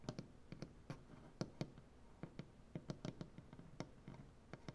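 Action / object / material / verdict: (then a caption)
tap / wooden butcher block tabletop / wood / none. Fingernails of both hands tap and scratch along the grain of a solid light-wood butcher block tabletop. About nineteen short, dry taps land in an uneven rhythm, each a quick, low, woody knock with a bright clicky edge that dies almost instantly. A soft, quiet scratching rustle fills the gaps between them.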